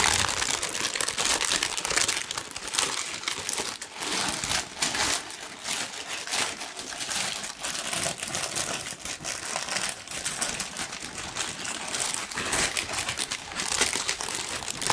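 A large, thin pink tissue paper sheet is crumpled with both hands, giving a dense, continuous, bright crinkling with almost no low end. The crackle runs steadily for the whole clip, swelling and dipping slightly in loudness without a clear pause.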